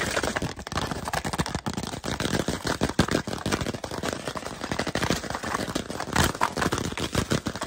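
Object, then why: Composite cardboard chip tube. A tall, hollow Pringles chip can made of composite cardboard with a printed label is held upright while fingertips and nails tap and scratch rapidly along the side of the tube. The result is a dense, continuous stream of quick, dry taps and scratchy crackles with a hollow low thump and a slightly bright edge.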